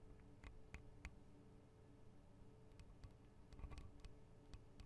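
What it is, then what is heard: Metal microphone capsules. Long acrylic nails tap the small hollow metal microphone capsules, with their metal guard wings, on a Tascam DR-40 recorder. Scattered quiet, crisp ticks and taps with brief bright edges sit over a steady low hum and rumble. Each tap dies away almost instantly.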